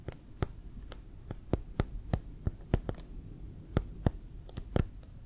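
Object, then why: Leather American football. Fingertips and nails tap and lightly scratch a brown, hollow, inflated leather American football held sideways. It makes a series of short, dry taps, each a sharp, bright click over a low, hollow thump that dies away almost at once. Soft scratching fills the gaps between taps.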